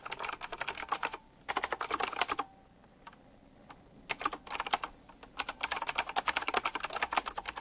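Fingertips type quickly on a full-size typewriter-style mechanical keyboard with round black plastic keycaps, chrome-look rims and a metallic frame. Bursts of sharp, bright clicks come in three runs separated by short pauses with only a few isolated taps.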